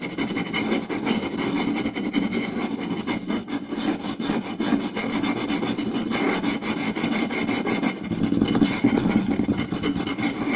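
Fingertips and nails quickly scratch and tap the surface of a round, solid wooden plate lying flat, working near its center and lower edge. The result is a steady, dense, rasping scrape with quick taps running through it and a woody resonance near 280 Hz. The level stays fairly even throughout, with only brief dips.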